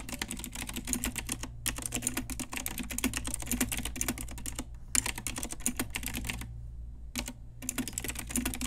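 Long nails and fingertips type on a pink Ajazz retro typewriter-style mechanical keyboard with round plastic keycaps. Rapid, bright plastic clicks and clacks come in quick bursts, broken by short pauses, over a steady low hum.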